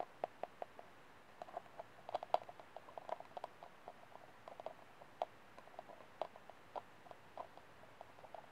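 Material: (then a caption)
Plastic. Fingernails tap and scratch the outer wall of an empty, hollow white disposable plastic cup held by the rim. About thirty short, dry clicks come in an irregular pattern, each with a hollow tone near 700 Hz, mixed with faint scratching. The sound stays quiet and dies away almost instantly.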